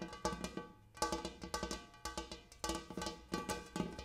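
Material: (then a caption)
Metal. Repeated taps on a large metal bowl used as a coffee table come in quick clusters with short pauses between them. Each tap gives a ringing, cowbell-like metallic tone with a low fundamental near 172 Hz and bright overtones that fade quickly.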